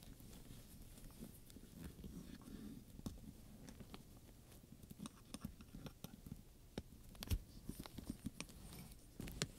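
A hand rubs and taps the studs and leather of a black studded leather purse, a hollow bag, and a wooden pointer appears. Soft, low rubbing and pattering runs throughout, broken by quiet, sharp clicks and taps with bright edges that die away almost instantly.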